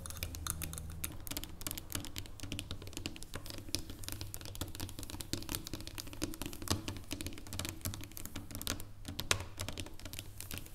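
Long painted nails tap and scratch across the segmented top of a solid dark chocolate bar lying flat on a wooden table. Quick, dry, bright clicks come in a dense, irregular patter with short scratchy strokes, each tick dying almost instantly over a steady low hum. The tapping stays at an even, quiet level throughout.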